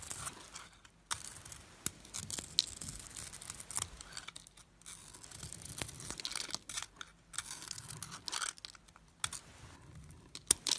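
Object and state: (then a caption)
Bar soap shaved with a blade. A solid, glittery silver-and-white bar of soap, held in the fingers, is shaved with a metal blade so flakes come off. Crisp, bright scraping strokes and small crunches come in uneven bursts, with quiet gaps between them and almost no low end.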